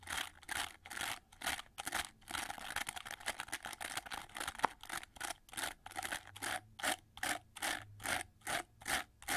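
Fingertips and nails rub and scratch through the dense red flexible plastic bristles of a hand-held oval hair brush with a gold plastic frame and handle. The result is a run of bright, bristly scratching strokes, quicker and more blurred together in the middle, then separating into evenly spaced swipes with short quiet gaps toward the end.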